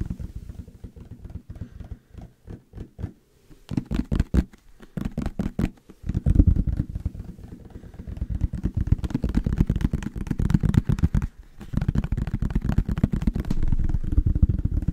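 A yellow plastic mustard squeeze bottle with a label, held close, is tapped rapidly with fingertips and nails. The result is dense bursts of dull, low, hollow taps with almost no ring, separated by brief pauses.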